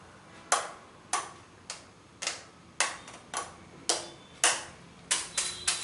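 Fingertips and nails tap along the tubular arms and hollow body of a white plastic salon facial steamer, making 11 sharp, bright clicks at an uneven pace. Each tap has a quick hollow knock that dies away fast, and some leave a faint high ring.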